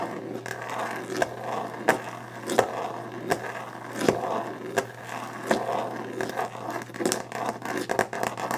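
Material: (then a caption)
Varnished wood. Long painted nails scrape, scratch and tap across the solid glossy top of a varnished wooden desk. Dry, grainy scraping mixes with sharp, bright clicks that land at an uneven, rapid pace, each dying away almost instantly.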